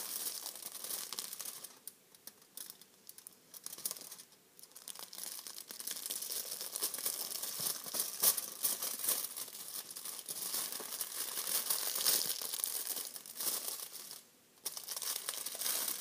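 A thin, silver metallized foil bag, apparently empty, is held in both hands and crinkled and rubbed with the fingers. It makes a dense, bright crackling and crinkling with almost no low end, broken by a few brief quiet pauses before the rustling resumes.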